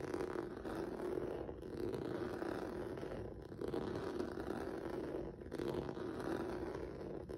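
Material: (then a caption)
Rubber. Fingertips and nails scratch across a flat black rubber or vinyl mat with a textured noodle surface. The result is a steady, dense scraping rasp centered in the low-mids around 355 Hz, broken by brief dips near 1.5, 3.4 and 5.5 seconds before the scratching resumes.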